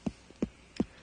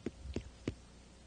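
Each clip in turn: First: ripe pumpkin. Second: unripe pumpkin (green side).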